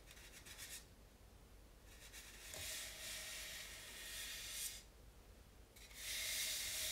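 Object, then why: Polystyrene foam mannequin head. Both hands rub over a white polystyrene foam mannequin head with a baby wipe, fingertips and palms stroking its cheeks, sides and forehead. Soft, bright, hissy rubbing comes in several sweeping bursts with quiet pauses between them, and a faint steady mid-pitched tone runs under the louder strokes.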